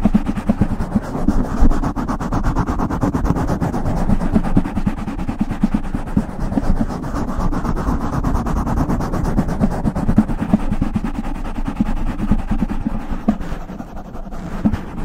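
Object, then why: Foam microphone windscreen. Both hands with long fingernails scratch, rub and swirl over a soft, hollow, black open-cell foam windscreen fitted over the capsule of a silver microphone. The result is a steady, dense, close-up rustling and scratching with a heavy low, muffled rumble and quick bursts of crackle, lasting about 15 seconds with no high sparkle.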